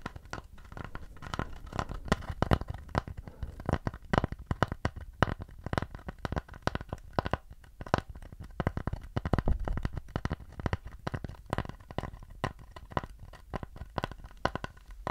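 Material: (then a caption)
Wood. Fingers scratch and tap the surface of a round wooden plate held up at its edge. The result is a dense run of short, dry, crackly taps and scrapes, heavy in the low end, with almost no ring after each hit.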